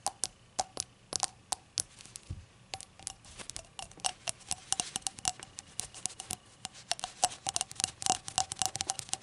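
A small, hollow, empty rainbow-glazed ceramic shot glass lying on a towel is tapped with long acrylic nails. The result is a rapid, irregular stream of bright, crisp clicks, each carrying a brief ring around 730 Hz that dies away almost instantly.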